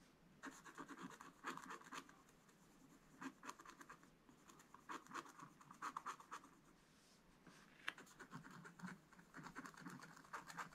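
A wooden stylus held at a low angle scratches fine lines into a black-coated scratch-art paper page. Quiet, dry, raspy strokes come in quick clusters with short pauses between them, each carrying a bright, papery hiss. Nothing rings on after each stroke.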